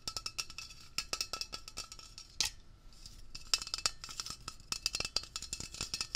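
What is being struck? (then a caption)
Metal aerosol can. A hollow, pressurized metal Blue Coral upholstery cleaner aerosol can, about 20 cm tall, is held in one hand while fingertips and short nails rapidly tap and scratch its printed label. The result is a dense run of sharp, bright, tinny clicks centered high, each dying away almost instantly, with a brief scratchy swish partway through.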